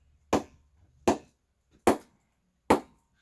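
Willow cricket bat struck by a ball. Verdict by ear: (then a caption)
Good ping. A ball is knocked four times on the face of a 2020 GM Siren cricket bat, model 404, made of grade 4 English willow, almost the lowest grade. Each knock is a sharp, crisp wooden pop with a short ring centred around 380 Hz, spaced with short silences between them. The bat has a good ping despite its low willow grade.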